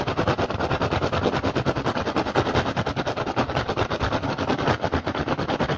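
Fingertips and short nails of both hands aggressively tap and scratch an upturned, hollow, empty woven rattan basket. The result is a fast, uneven stream of dry, hollow clicks and scrapes with a woody mid-range body and a short ring, continuing at a steady loudness throughout.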